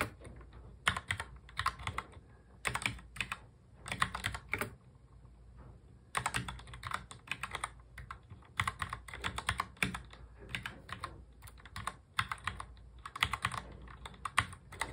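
A full-size black plastic mechanical keyboard is typed on quickly with the fingertips of both hands in fast touch typing. Bursts of rapid, bright, clacky keystrokes with short, dry decay come in runs, separated by brief pauses, including a longer lull in the middle.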